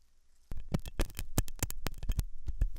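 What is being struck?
Silicone ear model and metal pick.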